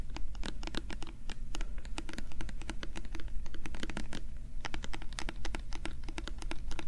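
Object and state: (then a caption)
Plastic bottle. Fingernails and fingertips rapidly scratch and tap a small, translucent, hollow plastic bottle with a label. Dense, quick clicks and scratchy taps with bright, crisp tops continue over a steady low hum for the whole clip.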